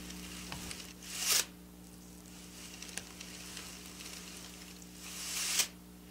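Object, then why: Sequin fabric scratched with fingernails. Long black nail tips scratch across the rows of a silver sequin fabric, shown close up, making a bright, hissing rasp with faint clicks. Two louder scratching passes swell and cut off sharply near the start and end, with soft ticks between them over a steady low hum.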